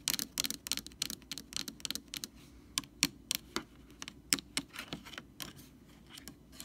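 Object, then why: Plastic screw cap tapped and scratched by long fingernails. Long nails tap and scratch the rim and top of the blue plastic screw cap on a Lysol jug. About 25 quick, sharp, bright clicks come in irregular bursts, with faint scratchy friction between them. Each tap is dry and dies away almost at once.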